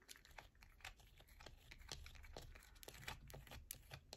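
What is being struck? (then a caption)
Bar of soap. A solid yellow bar of soap is held in the hands while long nails scratch quickly along its top and edges, sending shavings falling. The sound is a quick run of dry, crisp scratches and taps with bright, high crackle and a low rumble underneath.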